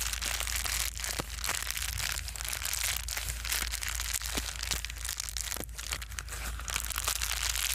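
A small, folded sheet of plastic bubble wrap is squeezed and crinkled with the fingertips of both hands. It makes a continuous bright, dense crackling and crinkling with quick sharp snaps throughout. A faint steady low hum sits underneath.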